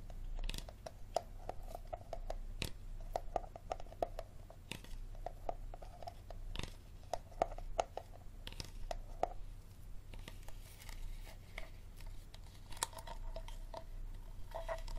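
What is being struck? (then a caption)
Plastic water bottle. Fingertips and nails scratch and squeeze the ridged plastic of a clear, hollow, apparently empty water bottle with a green cap and blue label. The result is quiet, close crinkling with sharp clicks and scrapes, some carrying a faint hollow ring around 700 Hz, over a steady low background hum.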